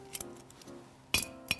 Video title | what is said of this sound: Basic Canning Equipment - Preserving Life Ministries | you want to lightly tap on the top of the lid and it should sound hollow